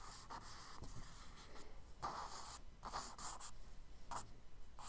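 A charcoal stick scratches quick, short strokes across a page of a spiral kraft paper sketchbook. The result is a series of soft, dry, bright scratching bursts with a faint low rumble underneath, at a quiet, steady level.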